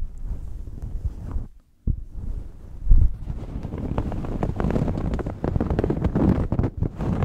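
Long fingernails scratch and pick along the white-and-black printed collar band and textured knit surface of a red knit shirt held up close. The result is a steady, dense, low, rumbly scratching with many quick bright ticks, broken by a brief silence near the two-second mark.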